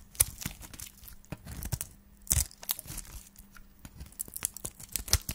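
A solid white dry soap bar is held in the hand and shaved along its face with a flat metal blade. It gives off a rapid series of dry, crisp scraping and crunching strokes with bright, high-pitched crackle. Each stroke stops short with almost no ring.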